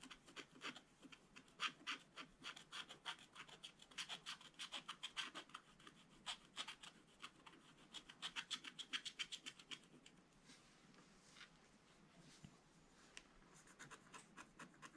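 A wooden stylus scratches through the black coating of a scratch-art paper page while one hand steadies the book. Quick, dry, bright scratching strokes come in irregular bursts of several per second. They fade to a soft rub for a couple of seconds before the sharper strokes pick up again.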